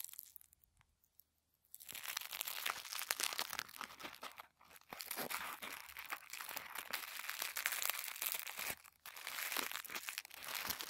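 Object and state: Crumpled tissue paper ball.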